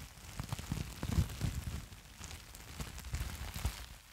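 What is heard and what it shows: A crumpled sheet of clear plastic bubble wrap with hollow air-filled bubbles is held in both hands close to the microphone and squeezed and crinkled with the fingers. The result is a steady run of soft, dull crackles and short muffled pops, heavy in low thuds with only a faint bright rustle on top, each burst dying away almost instantly.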